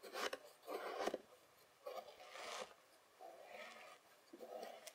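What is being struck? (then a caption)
Kinetic sand scraped with a plastic fork. A white plastic fork held in the fingers presses and scrapes across a flattened layer of beige kinetic sand. Five soft, gritty rasping strokes come with short pauses between them, each a dry, crumbly scrape with a low-mid body and a faint bright hiss.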